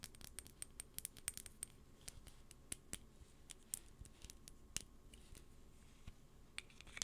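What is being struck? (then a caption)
Small glass perfume bottle. Long painted acrylic nails tap and scratch a small rectangular clear glass perfume bottle with a dark cap and white label, held in the hands close to the mic. Quick, bright, high clicks of nail on glass come in bursts over a soft scratchy rustle, each click dying away almost at once.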